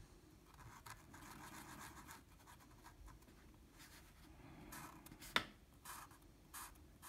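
A blue felt-tip marker fills in small shapes on a flat sheet of drawing paper, with short coloring strokes that rub the paper surface. The strokes make quiet, bright, scratchy rubbing bursts over a soft background hiss, with one brief sharper click near the end.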